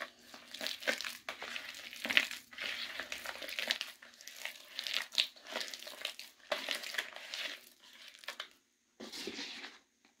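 Bare fingertips with painted nails squeeze, dig into and crush a thick, damp, crumbly paste of crumbled blue-dyed gym chalk soaked in water, filling a plastic bucket, while a red bowl of dry chalk beside it stays untouched. Bright, dense crunching and crinkling bursts come in quick clusters, with short pauses and a brief silence near the end.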